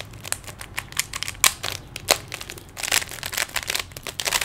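Fingers quickly twist the layers of a small, solid plastic 3x3 Rubik's cube, making rapid, irregular clicks. The snaps are bright and dry, with almost no low end, and they come in uneven bursts with a few sharper, louder clicks.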